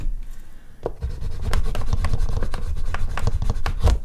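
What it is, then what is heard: Artist's paper sheet. An oil pastel stick is rubbed in quick strokes over a large flat sheet of artist's paper resting on a board, with a hand on the drawing. It makes a dull, low, scratchy rubbing in short, irregular strokes, growing slightly louder after the first second.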